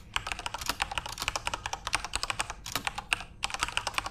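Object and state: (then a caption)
Plastic mechanical keyboard. A full-size Corsair RGB-backlit mechanical keyboard with plastic keycaps is typed on rapidly with fingertips. About 27 quick, bright, sharp clicks and clacks follow one another with almost no ring. Brief pauses break the steady run of keystrokes.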